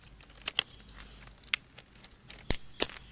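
A large machine-carved block of black basalt temple building stone at a temple construction site is struck to show how it sounds. Seven sharp, bright, metallic-sounding taps ring out over a faint background hum, each dying away almost instantly. The stone gives off a somewhat unusual ringing tone.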